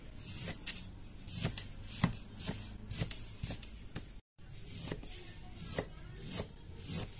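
A metal utility-knife blade slices and scrapes through a small solid block of green kinetic sand with a pink core resting on a white table, cutting off thin layered slices. Soft, grainy rasping is punctuated by a series of short, crisp crunches as the blade passes through, with a brief silent gap midway.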